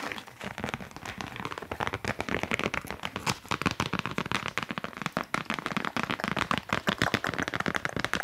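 Fast, aggressive tapping on cork coasters produces a rapid, steady stream of short, dry, crackly taps. Each tap is sharp and dies away almost instantly, with a bright, papery texture over a soft mid-range thump.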